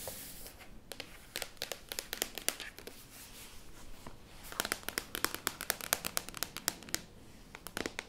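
Long painted nails and fingertips tap, scratch and rub the matte lid of a closed black laptop, a medium-sized flat hollow plastic shell that is held up and then tilted. Quick, bright clicking taps come in two dense clusters, separated by soft scratchy rubbing. Each tap stops almost at once, with no ring.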